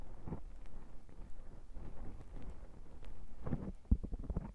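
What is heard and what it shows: Fingertips and short nails of both hands scratch and rub a black foam microphone windscreen. The result is a dull, muffled rumbling and scraping that sits almost entirely in the low range, with a few sharper, louder scratches near the end.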